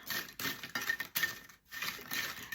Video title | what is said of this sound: Air fryer crisps, which air fryer came out the best? Ninja or Acekool ? #crisps #airfryer #ninja | you can hear how crispy they are